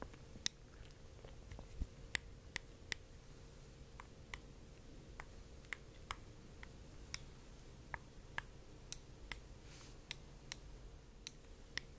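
Light tapping on a heavy glass art orb with very thick walls that is completely hollow inside. About 18 sharp, bright ticks and clicks centered near 2 kHz, each dying out almost instantly, over a quiet, steady low hum.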